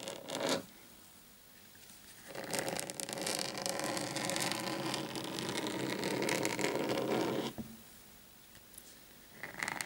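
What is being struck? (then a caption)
Desk mat. Both hands scratch a large, flat black desk mat lying on a table with short painted fingernails. A brief burst of scratching is followed by a quiet pause, then a long stretch of dense, raspy scratching with a bright texture, before it goes quiet again and a short final scratch ends the clip.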